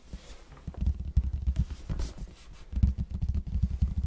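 Fingertips of both hands tap the plain red side of a large, hollow cardboard box held in front of the mic. About fifteen soft, deep, hollow thumps land in an uneven patter, with almost all their energy low and no brightness. Each tap dies away almost at once.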